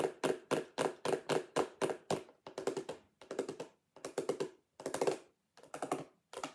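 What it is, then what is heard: Plastic storage box. Long acrylic nails tap rapidly on the lid and sides of a clear plastic lidded sensory bin box with contents inside. It starts as a steady run of single taps, then breaks into quick flurries of clustered taps. Each is a dry, hollow plastic click with a midrange body and bright edge, ending almost instantly.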